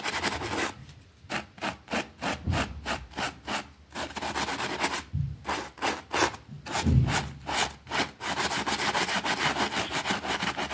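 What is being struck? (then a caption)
Wet fabric rug scrubbed with a plastic brush. A white plastic hand brush scrubs back and forth over a small, thin, green fabric rug with a rabbit print, wet and soapy and lying flat on a concrete floor, while the other hand holds it down. The result is a steady run of rapid, bright, rasping bristle strokes with a light wet hiss, briefly separating into distinct swipes with short pauses before blurring into continuous scrubbing again.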